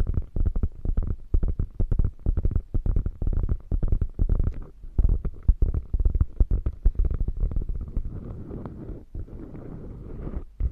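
Long nails scratch across a beige quilted faux leather bag with a padded top panel, giving a fast, uneven run of soft, low, muffled scrapes and taps. Near the end the strokes blur into a steadier rustling scratch.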